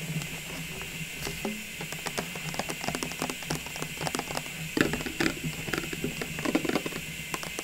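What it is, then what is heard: Clear plastic ornament tube. A hollow, cylindrical clear plastic tube full of small Christmas ornaments, standing on a table, is tapped with long pink nails. It gives a quick, irregular run of short, bright clicks and light plasticky patters that die away almost at once. A steady faint hiss and a high, constant tone sit underneath.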